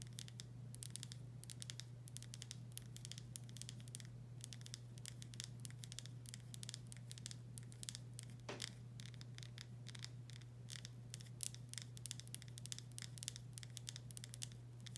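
Long nails tap and scratch across the body of a full glass pickle jar with a paper label, making a quiet, rapid stream of bright clicks and scrapes. A steady low hum runs underneath the whole time.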